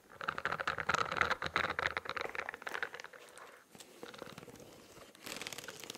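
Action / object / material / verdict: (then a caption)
scrape / spiral notebook with studded plastic cover / plastic / none. Fingernails scratch across the studded, textured plastic cover of a spiral notebook and near its spiral edge. The result is a dense, crinkly, bright scratching that is loudest over the first three seconds, softens in the middle, and then picks up again toward the end.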